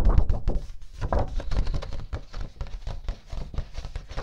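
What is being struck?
Cardstock paper sheet.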